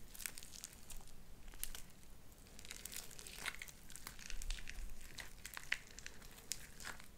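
Light-blue sticky slime with white beads is stretched between two hands and folded back. Its soft, crinkly squelching is broken by many small sharp pops and crackles, with short bright clicks scattered over a low rumbling bed.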